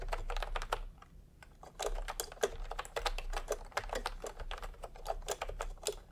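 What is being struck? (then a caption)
Plastic computer keyboard. Fingertips type fast on a full-size plastic computer keyboard with round pastel typewriter-style keycaps and a hollow body, resting on a white cloth. Quick, crisp, hollow-sounding clacks tumble out in a steady stream, with a brief lull about a second in. A faint low hum sits underneath throughout.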